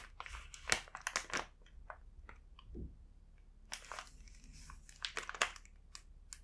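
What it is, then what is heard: Plastic snack bag crinkling. Fingertips rub and grip the back side of a full plastic snack bag, producing bright, close crinkling with irregular crisp crackles and short rustling bursts. Quiet gaps separate the louder crinkles, and a soft, lower swish appears briefly in the middle.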